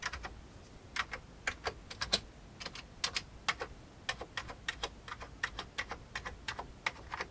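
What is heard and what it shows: Fingertips of one hand tap the keys of a full-size old beige plastic computer keyboard with a hollow plastic case. Its 29 quick, dry clicks are spread unevenly over about seven seconds. Each is bright and sharp with almost no low end and dies away at once, leaving a faint hiss between the taps.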